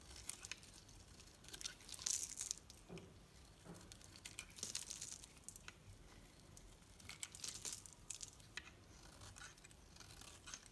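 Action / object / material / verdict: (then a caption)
scrape / bar of soap shaved with a knife / soap / none. A knife shaves long thin strips off a solid green bar of painted soap with a pink rim, held in the hand. It makes quiet, bright, dry scraping and crinkling sounds in bursts, with sharp high peel-offs and little low end.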